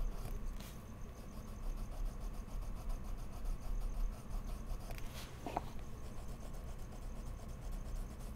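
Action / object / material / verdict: scrape / wooden colored pencil on mixed media paper / paper / none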